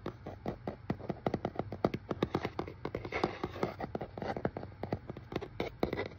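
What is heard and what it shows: Fingertips and nails tap and scratch over the shipping label and surface of a hollow, medium brown corrugated cardboard shipping box held close. A rapid, uneven series of short, dry, hollow taps sounds in the mid range, with brief scratchy rustles between them over a faint steady low hum. Each tap dies away almost instantly.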